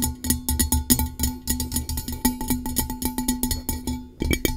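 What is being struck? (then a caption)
Coated metal tumbler. Long nails tap rapidly on a blue-coated hollow metal tumbler, producing a quick run of short, bright clicks. Each tap carries a faint hollow metallic ring that dies away almost at once. The tapping pauses briefly near the end, then resumes.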